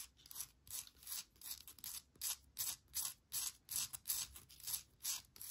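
Long nails scratch and tap across the textured surface of a small, hollow wooden bark log planter holding an air plant. A quiet, steady rhythm of soft, bright, scratchy strokes repeats about two to three times per second, with almost no low end.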